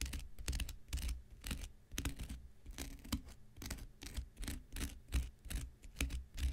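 An X-Acto knife blade scratches the surface of a thick, hand-sized block of light blue porous cellulose sponge held in the hand. Quick, dry rasping strokes come in close succession, each a bright, broadband scrape over a soft low rumble.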